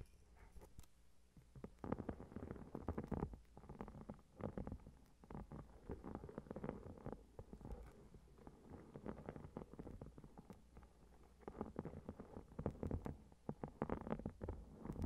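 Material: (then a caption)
Metal foil. A notebook with a shiny gold metallic foil cover, lying flat on the recorder, is tapped and scratched with long red-painted nails of both hands. Quiet, dense bursts of soft tapping and low, rustling scratches come in clusters with brief pauses. The sound is muffled and low-heavy, with no bright edge.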